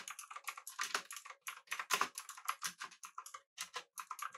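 Fingertips of both hands type rapidly on a full-size backlit typewriter-style mechanical keyboard with blue switches, an aluminum body and round plastic keycaps. A fast, steady run of crisp, bright clicks centered around 1 kHz, each dying out almost instantly, is broken by a few brief pauses.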